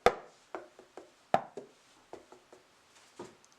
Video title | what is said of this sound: How to Make Flan - The Ultimate Cooking Guide | Give it a tap until it feels hollow.